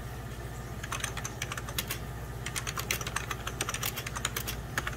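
Fingertips and short nails rapidly type on a full-size 1990s Packard Bell keyboard, its beige plastic keys set over a hollow plastic case. The result is a quick, uneven stream of sharp, bright clicks and taps, each dying away almost at once, over a steady low hum.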